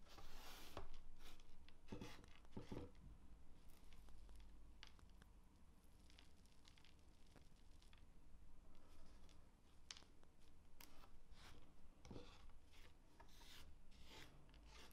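Fingertips and long painted nails pinch, rub and scratch through a small pile of finely chopped walnut crumbs on a dark speckled cutting board. Quiet, irregular crackles and scratchy ticks sit over a soft low rumble, with brief bright crunches.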